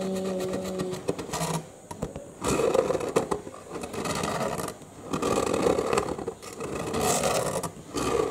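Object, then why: Cardboard box. Short nails scratch and tap across the green end panel and folded flap of a hollow cardboard box held in both hands. Dry, rasping scrapes come in several sustained bursts separated by brief quieter pauses, with a hollow midrange body and occasional sharper taps.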